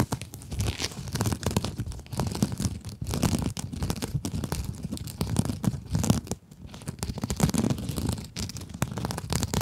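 Long acrylic nails scratch across a small pink scrub sponge with a sparkly glitter mesh surface. The result is a continuous, dense, crackly rasping of rapid strokes, with a low, full body and faint bright crinkle on top. It dips briefly just past the midpoint, then resumes.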